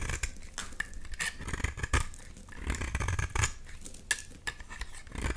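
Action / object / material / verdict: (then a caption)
scrape / bar of soap / soap / none. A solid, bright green oval bar of soap is held in the hand and scraped with a box-cutter blade into crumbly shavings. Irregular dry scraping and crackling strokes come with short sharp clicks, over a low rumble.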